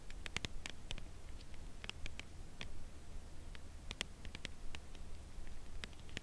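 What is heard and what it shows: Long press-on nails tap and lightly scratch the printed surface of a Lindt Caramel chocolate bar in its closed cardboard sleeve, held on edge in both hands. Quiet, dry, bright clicks come in irregular bursts with almost no ring, peaking around 3.2 kHz. A faint scratchy patter and a steady low hum sit underneath.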